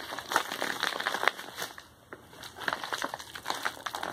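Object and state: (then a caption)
Kraft paper padded mailer envelope. A medium kraft paper padded mailer envelope with a label is held at both ends while hands squeeze and crumple the paper and its bubble lining. The result is dense crinkling and crackling, bright and papery with no low end, with sharper snaps throughout. The sound eases into a brief quiet lull around the middle before the crumpling picks up again.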